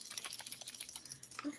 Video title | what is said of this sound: Chat with the Muskrat and Creole #33 Jamie and Rebecca Dunn. | Your float actually has a rattle inside. Here, shake it.